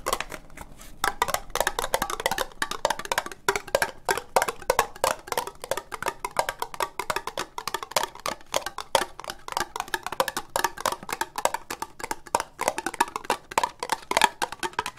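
Long nails tap quickly on an empty, hollow orange ribbed plastic Halloween cup held upright. The result is a dense, uneven stream of dry, hollow clicks with a mid-range ring and bright edges. Each tap dies away almost instantly, with little low end.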